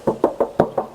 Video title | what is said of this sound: PILIHA CALYA 2021 ATAU SIGRA 2021, KALIAN BEBAS MAU PILIH YANG MANA ❤️ | masih kedengaran banget kalinya